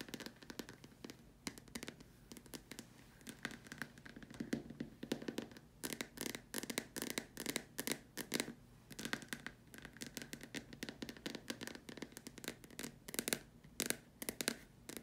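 Long dark nails tap the upper surface and sides of a large hollow white plastic dome lamp shade. The result is a quiet, steady run of rapid, dry, hollow clicks and taps with short bursts and almost no ring.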